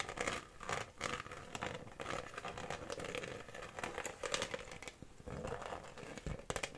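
An empty, hollow, clear Bonaqua PET plastic water bottle is held in the hands and tapped and scratched with long fingernails. The result is a steady run of quick, crinkly plastic taps and bright scratches with a hollow, mid-pitched ring that dies away almost at once.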